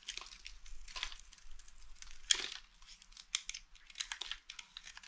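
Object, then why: Soap bar. A small, solid, mint-green dry soap bar held in one hand is scraped and shaved with the metal blade of a green utility knife, and flakes fall off. Quiet, bright, crackly scraping and crunching sounds come in a run of short, close-set strokes, with one louder crunch partway through.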